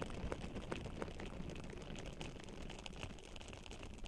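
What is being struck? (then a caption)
Metal mesh microphone grille rubbed with a silicone pad. Both hands with long nails rub and squish a pink silicone scrubber pad over the bare, hollow silver metal mesh grille of a Blue Yeti microphone. The result is a steady, close, low rumbling scrape dotted with quick, irregular soft ticks and squishes.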